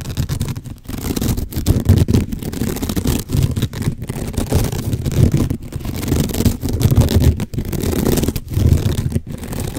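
Fingernails scratch the rough woven fibers of a sisal rope cat scratching post, a rope-wrapped cylinder held horizontally. The result is a dense, continuous rasping scratch, heavy in low-end rumble with little high content, broken by brief pauses between strokes.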